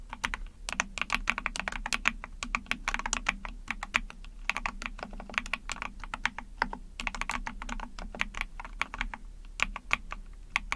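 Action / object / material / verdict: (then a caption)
tap / small plastic mechanical keyboard / plastic / none. Rapid typing on an Epomaker TH40, a small 44-key mechanical keyboard with an ABS plastic case, PC plate, backlighting and pink and white keycaps, pressed with long painted nails and fingertips. The dense, crisp clicks and clacks are bright and sharp and die away almost instantly, with a faint steady low hum underneath.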